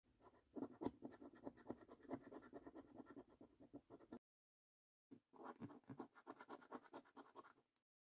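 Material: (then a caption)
Paper. A coin scratches the latex coating off the game panels of a thin, flat paper National Lottery £15 Snack Stack scratchcard. It makes quick, dry, rasping strokes in a rapid series, stops for about a second, then continues in a second burst before ending.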